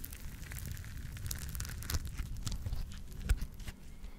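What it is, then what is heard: Foam scrub sponge being scratched. Fingertips squeeze and scratch across a hand-sized smiley-face scrub sponge, made of solid but soft yellow polymer foam with holes on one side and a pink scouring side, held close to the mic. The result is a dense, crackly, crinkling scratch over a deep, muffled low rumble, with scattered bright, sharp ticks that die away almost instantly.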